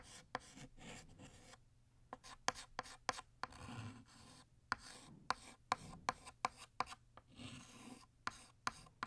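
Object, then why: Chalk on a chalkboard. White chalk is drawn across a flat black chalkboard, retracing the letters of "Happy" to thicken them. Short, dry scratchy strokes rasp and rub in an uneven rhythm. Sharp little taps punctuate the strokes, with bright grit and a faint tone near 1 kHz.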